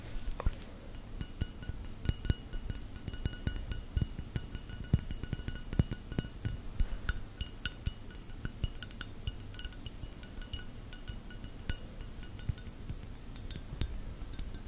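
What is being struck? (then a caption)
Textured glass object. A textured, bubbly glass is tapped with fingernails, giving a steady run of quick, bright clinks that each ring out briefly. A constant low rumble sits beneath the taps.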